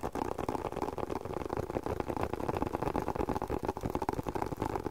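A leather spectacle case is tapped in a quick, irregular rhythm with no talking. The taps are soft, dull and muffled, sitting in the low midrange with almost no high end, and each one stops at once without ringing.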